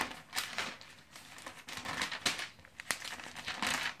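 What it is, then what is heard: Glossy paper magazine pages. A thick magazine with glossy paper pages, held open on the lap, has its pages flipped and riffled with the fingertips. The sheets rub and crinkle against each other in a quick run of crisp, bright rustles and short snaps, with almost no low end.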